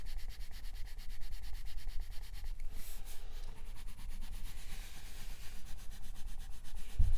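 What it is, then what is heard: Colored pencil shading on paper. A green wooden colored pencil tip shades densely back and forth across a paper coloring book page while the other hand holds the book flat. A steady, rhythmic scratchy rubbing continues throughout, with a brighter, airier swish around the middle.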